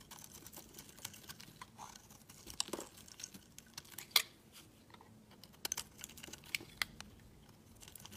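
A solid lilac rectangular bar of soap is held in the hand while its edges are shaved and scraped with a utility knife blade. The result is quiet, bright, crisp scraping and crackly clicks with irregular sharp snaps and no ring.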